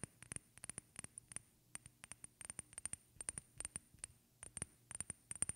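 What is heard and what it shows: Long red-painted fingernails tap a small, tinted glass perfume bottle with a white cap, held sideways and partly filled. A quick, irregular series of sharp, dry clicks comes through, each with a brief high glassy ping that dies almost instantly. A faint low hum sits underneath throughout.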